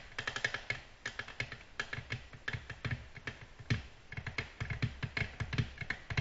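Long natural nails gently tap a flat, solid, glossy black glass tabletop in a quick, uneven run of light taps. Each tap gives a short, dry click with a soft low knock beneath and a bright tick on top, dying away almost at once.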